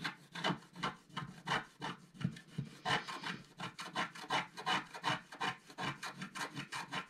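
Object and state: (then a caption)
Scratch-art paper being scraped. A wooden stylus scrapes vertical strokes across a flat black-coated scratch-art paper sheet, removing the coating. About 28 short, dry, bright scratches come in a quick, fairly steady rhythm, each stopping with no ring.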